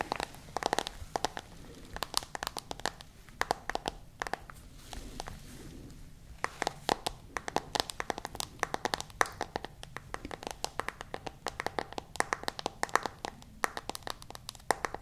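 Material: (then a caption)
Glass, plastic. Long nails tap rapidly on the glass screen and white case of a smartphone held screen facing out, producing a dense stream of sharp, bright clicks with brief crinkly rustles. Each tap is short and dry, dying away almost instantly. The pace is uneven, with a quieter, softer patch around the middle before the tapping resumes.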